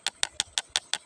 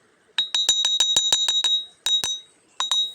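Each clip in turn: First: ordinary river stones, dull knock. Second: ringing iron-bearing stone.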